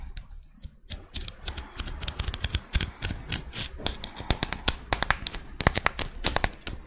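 Long red nails scratch along the ribs of a small, thin, hollow pink-white ribbed scallop shell held in the hands and tap on it. The result is a rapid run of sharp, bright clicks and raspy scrapes over a low, soft rumble, each tick dying away almost at once.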